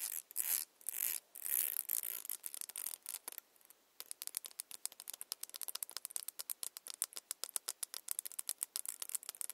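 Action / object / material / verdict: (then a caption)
scrape / plastic tail comb with fine teeth / plastic / none. Long nails scratch along the fine teeth of a long, solid, clear glitter plastic tail comb. A few drawn-out, bright, hissing sweeps come first, then they give way to a quick run of dozens of short, crisp ticks with almost no low end.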